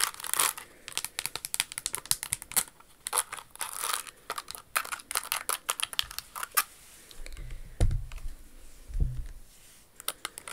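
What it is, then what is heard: Crystal-embellished shoe tapped with nails. Long acrylic nails tap rapidly over the crystals of a pink rhinestone Jimmy Choo Cinderella pump with a crystal toe ornament, making dense, bright clicky ticks. The tapping thins out near the end, where a couple of soft low thuds are heard before a few final clicks.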